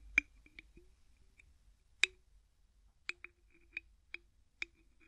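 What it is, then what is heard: Plastic bottle screw cap clicking. A small, hollow, clear PET-like plastic bottle, possibly holding liquid, is held in one hand while the fingertips of the other grip and twist its white plastic screw cap. About seven short, bright, dry clicks sound at uneven intervals with almost no ring, over a very quiet background.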